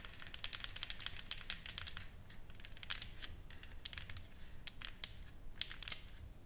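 Long fingernails tap and scratch a solid, flat wooden sign painted with flowers and lettering as it lies on a table. Quick, dry, bright clicks come in irregular bursts, each dying away almost at once, with soft scraping between them over a faint low rumble.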